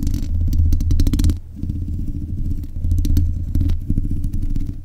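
Long nails scratch and tap the metal mesh grille of a black USB condenser microphone. The result is a dense, boomy, low rumbling scrape with bursts of rapid clicking taps. It dips briefly in the middle before the scratching builds again.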